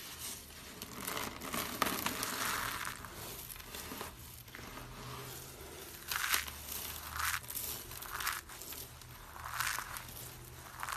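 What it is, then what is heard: Dry soap flakes. A pile of small mint-green dry soap flakes is pressed and rubbed between palms, then scooped and crunched by fingers with short nails. The result is a steady, bright, dry crackling and crumpling texture, with louder crunchy bursts standing out over a low, continuous rustle.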